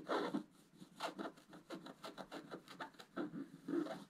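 A wooden scratch stylus scratches the black coating near the top of the picture on a flat scratch-art paper sheet held by the left hand. It makes a quick series of short, dry, rasping strokes with little low-end, each fading almost at once.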